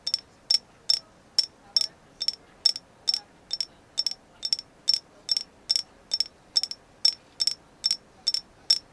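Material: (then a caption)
Agate. A carved agate figure of a moon goddess is tapped in a steady run of about two dozen quick, crisp taps, often in pairs. Each tap gives a bright, high click that dies away almost at once, leaving a quiet hiss between strikes.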